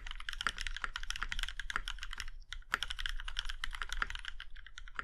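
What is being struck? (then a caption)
Mechanical keyboard with aluminium case. Fingertips of both hands type steadily on a compact Iron 165 mechanical keyboard with a plum-red aluminum case and black keycaps. A quick stream of short, crisp clacks with bright upper tones dies away almost instantly after each keystroke. A brief lull near the middle interrupts the rhythm before the typing picks back up.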